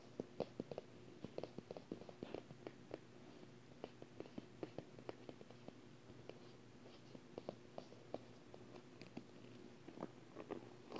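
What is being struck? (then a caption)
Paper wall calendar. Fingertips and long painted nails tap and scratch the surface of a large, unwrapped paper wall calendar with thin, flat sheets lying on the carpet, then handle the page edges. Many quick, soft, dry clicks and scratches sound with almost no ring, over a faint steady low hum. The sound is quiet throughout.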